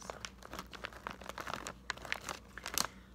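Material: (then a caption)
Plastic. A full, medium-size, thin plastic bag of Harvest Snaps green pea crisps is held and crinkled by fingertips. It makes a quick run of bright, crisp crackles and rustles. A faint steady low hum sits underneath.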